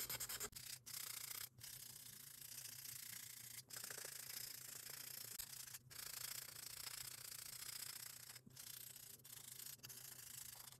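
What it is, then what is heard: Acrylic nail being buffed. A small pink foam buffer block, held in a gloved hand, is rubbed quickly back and forth over the surface of a long solid acrylic nail. The result is a continuous, bright, hissy scratching with fast rhythmic strokes, broken by a few brief pauses, over a faint steady low hum.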